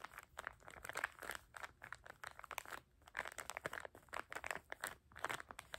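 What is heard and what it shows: A small, soft packet of paper tissues in printed plastic wrap with a "dream BIG" label is squeezed and crinkled by fingertips rubbing the plastic film. A quiet, rapid run of dry crinkles and crunches centres around 1 kHz with bright edges. Each burst stops short with no ring.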